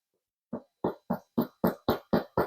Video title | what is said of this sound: “Why 60% Hydration Makes Better Sourdough for Beginners” with Allen Smith | Hear that? Sounds hollow inside. This is how it's supposed to sound.